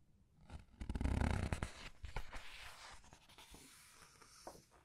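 Fingertips with long red nails turn and squeeze the thick glossy paper pages of a large hardcover art book lying open on a white table, rubbing the paper. A soft, low rustle swells into a loud, crinkly page sweep around the first second, then fades into quieter rubbing and scattered light paper taps.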